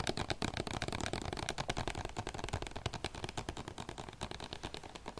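A medium hollow plastic bottle with a paper label, held in both hands, is tapped and scratched with the fingertips and nails. A fast, steady stream of short taps gives hollow, low thumps, while the nails add bright, dry scratching clicks. Each tap dies away almost at once, with no ring.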